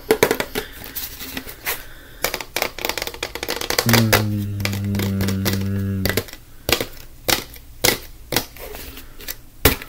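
A plastic disinfectant wipes canister is held horizontally and tapped quickly with the fingertips of both hands. It makes a stream of sharp, dry, hollow clicks in uneven bursts. Midway through, a low steady humming tone with layered harmonics holds for about two seconds under the tapping.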